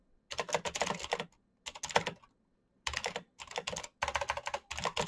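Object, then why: Plastic mechanical keyboard. Fingertips type quickly on the keys of a full-size black plastic Razer mechanical keyboard with clicky green switches and RGB backlight. Rapid, bright clicks and clacks come in several fast bursts separated by short pauses, each keystroke crisp and dying away almost at once.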